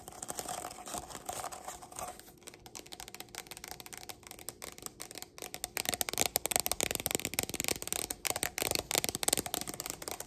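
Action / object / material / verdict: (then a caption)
scrape / stack of nested plastic cups / plastic / none. A stack of nested, hollow, empty pink plastic party cups is tapped and scratched along its ridged sides with long black nails. The result is a dense, rapid, uneven patter of bright, dry clicks and scratchy rasps with no ring, growing louder and busier in the second half.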